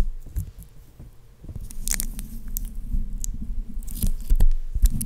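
Long painted fingernails of both hands scratch and tap the hollow metal mesh grille on top of a black Blue Yeti USB microphone. The result is dense, low, thumping rumble with soft scraping and occasional bright, short clicks, growing busier and louder toward the end.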